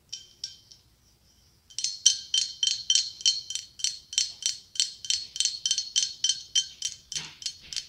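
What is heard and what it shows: Long acrylic nails tap on the ribs of a hollow, ribbed, white blown-glass pumpkin with a gold stem. Three light clicks and a pause lead into a quick, steady run of bright, glassy taps. Each tap rings briefly with a clear tone near 3.1 kHz over high shimmer, 24 taps in all.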